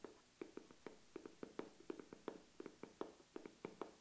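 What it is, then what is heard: Makeup case lid tapped with nails. Long acrylic nails tap and scratch on the flat lid of a medium-size, hollow black matte coated makeup case with metal corner guards, held in one hand. A quick, irregular series of soft, dry clicks with a hollow midrange tone rises above faint scratching. Each tap dies away almost at once.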